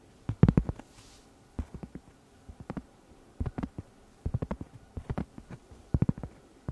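A round, flat, solid cork trivet about 20 cm across is held up while long red nails scratch and tap its surface. About 25 short, dull, low thuds come in quick clusters separated by brief pauses. Each tap dies away almost instantly with no bright ring.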